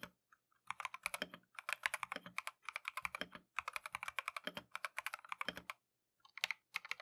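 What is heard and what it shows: A compact Keychron V1 mechanical keyboard with Tangerine switches and green and white plastic Matcha keycaps is typed on continuously with gloved fingertips. Rapid bursts of crisp, bright clacks with very short decay are broken by a few brief pauses, with only faint low thuds beneath.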